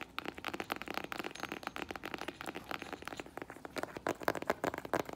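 A flat strappy sandal with metallic rose-gold faux leather straps and a tan synthetic footbed is held in the hands while fingernails tap and handle its sole and straps. Quick, dry, crackly taps with a little crinkling come in a steady, dense run, each clicking off almost instantly.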